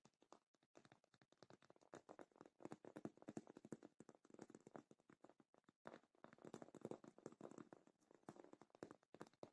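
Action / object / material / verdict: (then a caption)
tap / padded faux leather cosmetic case / faux leather / none. Long light-painted fingernails rapidly tap and scratch the top and sides of a medium rectangular black faux leather zippered cosmetic bag, padded and hollow, resting on a black cloth. The quiet, dense stream of short, dry, muffled clicks and rustling scrapes has a hollow low-mid body, with brief pauses between bursts.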